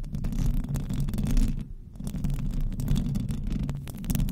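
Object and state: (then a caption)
Metal microphone grille being scratched. Very long decorated acrylic nails on both hands scratch the hollow metal mesh grille head of a large silver Blue Yeti-type condenser microphone on a stand. The result is a dense, continuous, low, rumbling scratch with a steady throbbing texture. It eases briefly in the middle before building back up.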